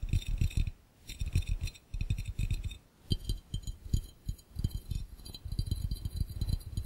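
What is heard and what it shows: Fingertips tap rapidly on the base and edges of an empty, hollow, clear glass fishbowl. The clip is a series of quick bursts of soft, low, dull thuds, separated by brief pauses, with a faint bright glassy ring above them. Each tap dies away almost at once.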